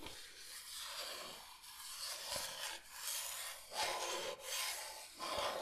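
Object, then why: Bamboo cutting board. Long nails slowly scratch and rub across a large, flat, solid bamboo cutting board shaped like Michigan. The result is a dry, bright, raspy scraping that swells and fades in long strokes, with very little low end.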